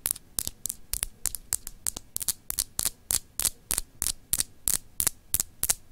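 Long acrylic nails scratch across a palm-sized solid clear glass globe paperweight with etched grid lines, producing about 22 quick, bright, high-pitched scraping strokes at an uneven rhythm of roughly three per second. Each stroke stops dry, with no ringing between them.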